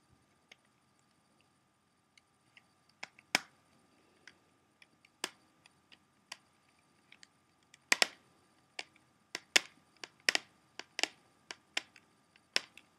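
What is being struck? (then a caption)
Clear plastic CD jewel case. A closed, hollow, clear plastic CD jewel case is held upright while the fingertips and nails of both hands tap its front cover. The result is a series of sharp, bright clicks at an irregular pace, each dying away almost instantly, with taps bunching more closely together in the second half.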